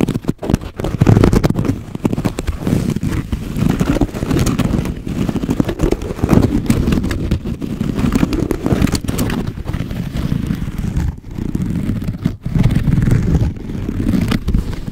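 Long nails on both hands scratch and tap the weave of a hollow, medium rectangular woven wicker basket. The result is a dense, continuous stream of dull, low scratching and tapping, with most of the energy in a boomy low range around 100 Hz and almost no bright high end.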